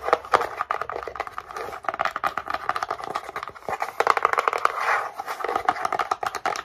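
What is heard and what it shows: A small, tall, empty brown kraft cardboard box with its top flap open is held in both hands and tapped and scratched with long painted nails. Quick dry taps and papery scratching sit mostly in the mids around 1 kHz, with no low end and a very short ring. The taps come in dense, uneven bursts throughout.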